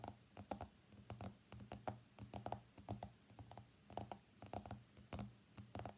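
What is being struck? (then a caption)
Smartphone glass screen. Fingernails from both hands tap rapidly on the glass screen of an iPhone X lying face up on a mat. The clicks are short, sharp and quiet, coming in quick, uneven bursts with a midrange tone. A steady low hum sits beneath them throughout.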